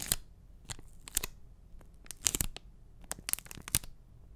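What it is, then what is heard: Enamel pin on a cardboard backing card. A small, flat, printed cardboard backing card holding an enamel pin is held upright in front of the mic and tapped and scratched with fingertips and short nails. Short, dry, bright taps and scratchy papery strokes come in irregular bursts over a quiet, low rumbling background. Each touch stops instantly with no ring.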